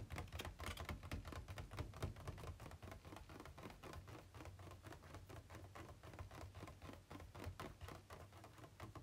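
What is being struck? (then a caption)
Thin plastic packaging insert tray. Fingertips and nails tap quickly and unevenly on the inner walls of an empty, hollow, ribbed white plastic packaging insert tray held tilted. The result is a dense stream of short, dry, hollow clicks with almost no ring, set over a steady low hum.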